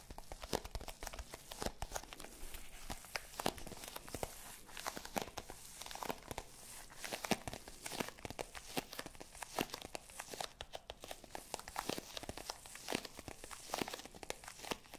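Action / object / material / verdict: scrape / small zippered hard-shell case with faux leather covering / faux leather / none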